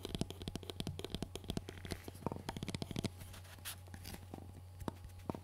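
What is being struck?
Hard-plastic hearing-protection earmuff cup.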